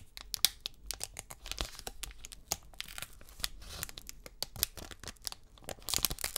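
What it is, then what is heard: Foil trading card pack being crinkled and torn. Fingers peel, crinkle and tear a silver metallized plastic foil wrapper from a 2022 Select UFC trading card pack held in both hands. The result is a rapid string of sharp, dry crackles and tearing rustles, mostly bright and high with little low end, each snap dying out almost instantly.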